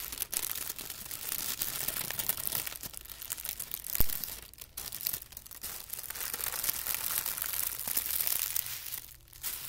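A thin white tissue paper sheet, folded into a band, is pressed flat and creased with hands and fingertips. It makes steady bright crinkling and rustling with dense small crackles, brief quieter pauses, and one sharper crisp snap near the middle, over a faint low hum.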